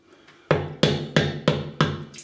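The handle of a Simpsons Chubby 2 Super Badger shaving brush, soaked beforehand in a shaving soap, is tapped on a surface. Five sharp, evenly spaced knocks sound, each with a dull low body and a quick decay, followed by a fainter tap at the end.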